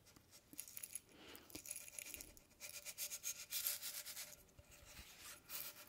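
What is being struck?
Small round metal tin.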